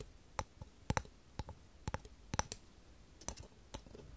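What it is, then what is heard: Wooden frame tapped with fingernails. Long false nails tap and click along a small, light, hollow open-shaped wooden square frame held in the hand. About a dozen short, dry, irregularly spaced clicks die away almost instantly, some landing in quick pairs, over quiet background hiss.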